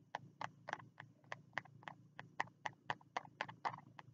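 Fingertips tap the green card cover of a small spiral notebook held low, giving 19 short, dry taps in a quick, uneven rhythm. Each tap is a soft mid-range knock centred around 1 kHz that dies away almost instantly.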